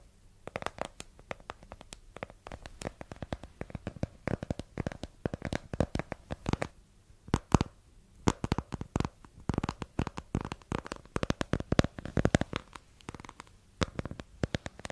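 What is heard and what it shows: Long nails rapidly tap and scratch the front face and white edges of a small, hollow printed cardboard box held above the microphone. The sound is a dense, irregular run of dry, short taps and scrapes with a hollow, muffled body and little brightness, each hit dying away almost instantly.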